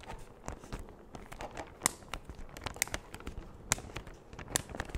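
A large, empty, thin clear plastic bag is held up with both hands and stretched, pulled and crinkled by the fingers near the mic. A steady, quiet rustle of crinkling and crackling runs throughout, broken by a few sharp, bright snaps that die away almost instantly.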